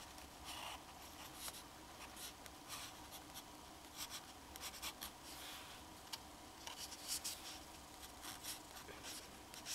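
A black fountain pen's metal nib scratches short strokes across a flat sheet of drawing paper while drawing a face with a hat. Quiet, bright, dry scratching comes in brief bursts over a soft steady background.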